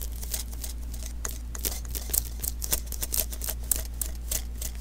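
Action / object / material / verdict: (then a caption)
tap / adhesive paper lint roller refill / adhesive paper / none. Fingertips tap and peel at the sticky surface of a small hollow adhesive paper roll, a lint roller refill, making a quick run of crisp, bright ticks and crackly peeling snaps. The taps come irregularly over a steady low hum.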